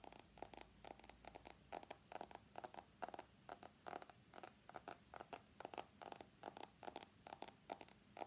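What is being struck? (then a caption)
Smartphone with steel side frame. Fingernails scratch and tap along the steel side frame of an iPhone X held sideways with its screen facing forward. A steady run of quick, dry clicks and short scrapes has a bright edge and a faint tonal ring near 720 Hz. Each one stops almost instantly, over quiet background hiss.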